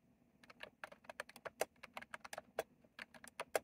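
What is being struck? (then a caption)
Plastic mechanical keyboard with round keycaps. Fingertips type fast on a retro plastic mechanical keyboard with round plastic keycaps, making about twenty-two quick, irregular clacks over a few seconds. Each keystroke is a short, dry click with a mid-pitched body around 630 Hz and a bright tick on top, dying away almost instantly.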